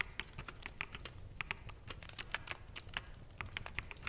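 Fingertips of both hands type rapidly on a full-size black mechanical keyboard with plastic keycaps. Quick, sharp, bright clacks tumble out in an uneven stream, each dying almost instantly, over a faint low rumble.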